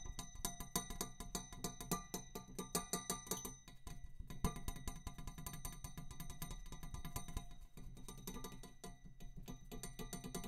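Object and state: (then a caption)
Metal tube. A metal tube is tapped in a quick, continuous stream of light strikes. Each tap gives a short, bright metallic ping over a low hollow body tone around 176 Hz. The hits come in crisp, separate bursts for the first few seconds, then blur into a denser, softer patter.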